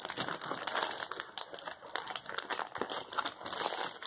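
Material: Plastic.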